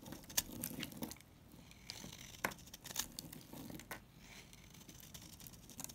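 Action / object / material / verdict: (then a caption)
scrape / bar of soap / soap / none. A solid coral-pink NIVEA bar soap held in the hand is scraped with a utility knife, shaving off dry crumbles. Crisp, bright scraping and crumbly crackles come in short bursts with sharp clicks, separated by brief quieter stretches of soft rustling.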